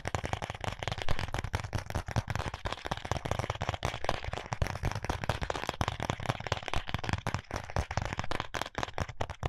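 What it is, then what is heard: Cardboard contact lens box. A small, flat, closed white paperboard contact lens box is tapped with fingertips and short nails. The result is a rapid, continuous run of dense, crackly taps. The tapping has a strong low thump beneath brief, bright clicks that die away almost instantly.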